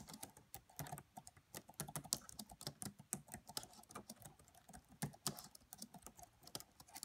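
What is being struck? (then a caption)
Plastic laptop keyboard. Fingertips with long French-manicured nails on both hands tap the black plastic chiclet keys of a red laptop with a hollow body. A quiet, steady stream of short, crisp clicks and taps has a bright, clicky edge over a light hollow thump, each stopping almost at once.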